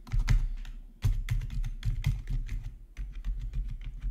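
Both hands type with their fingertips on a full-size black plastic RGB membrane gaming keyboard with rainbow backlit keycaps, resting on a marble surface. A steady run of soft, muffled keystrokes sounds, each a dull, low thud with a brief tick on top, fading quickly between presses.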